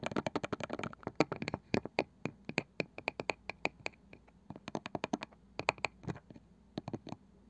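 Long nails tap and scratch on the light wooden lid of a small, seemingly hollow round wooden box with a woven cane side. Dozens of quick, dry, clicky taps come in uneven bursts, each one short and bright with a light hollow knock beneath, mixed with faint scratchy brushing between them.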